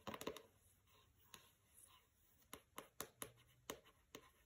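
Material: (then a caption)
Paper, board. Fingernails scratch across the paper-covered cover of a pink hardcover book, "Don't Overthink It," resting on carpet. A cluster of quick scratches opens the clip, then a string of sharp, bright, dry scratching ticks follows at uneven intervals, each fading almost instantly over a faint hiss.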